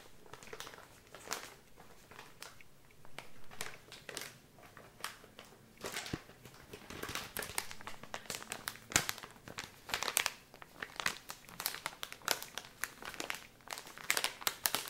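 A filled blue soft plastic wet-wipes pouch is crinkled and squeezed by hand close to the microphone. Bright, crisp crinkles and sharp crackling bursts come in irregular clusters throughout, with quiet gaps between squeezes.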